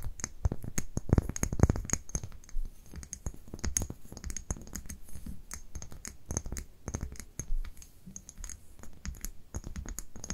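Long nails tap and scratch the label and glass of a small labeled amber glass dropper bottle held in both hands. The sound is a steady run of quick, dry clicks and scratchy rubs with a soft low thump beneath, loudest in the first two seconds. Each tap dies away almost instantly.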